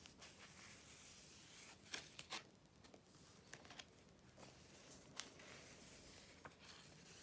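Long painted nails and fingertips turn the thin glossy paper pages of a large open July 2013 issue of Vogue magazine lying flat on dark fabric, rubbing them flat. A quiet, bright, continuous rustle and swish runs throughout, broken by sharp crisp snaps and crinkles as pages flip and catch.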